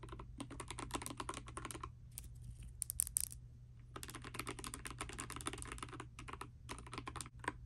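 Fingertips and long nails type on a pastel dust silver D84 mechanical keyboard with plastic keycaps, making rapid, bright, sharp clicks over a steady low hum. The typing runs in dense bursts, thins to a few scattered taps in the middle, then picks up again.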